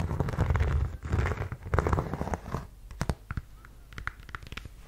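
Long yellow nails scratch the suede of a black suede block-heel ankle boot, making a dense, low, rumbling rustle. The nails then tap the chunky heel and sole in a few sharp, scattered clicks, and the sound grows quieter.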